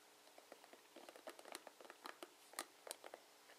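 Fingers and nails scratch and strum the plastic pins of a plastic paddle hairbrush. The result is a quiet, irregular patter of short, crisp clicks and crinkly plucks with bright, high edges, each dying away almost instantly.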